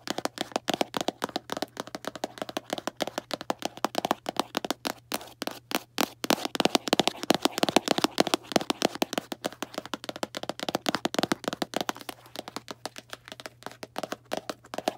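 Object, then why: Small cardboard box. Long black nails tap quickly on the top of a small Arm & Hammer cardboard baking soda box, making a fast, continuous run of dry, hollow clicks with no ring. The taps swell slightly louder mid-clip over a faint steady low hum.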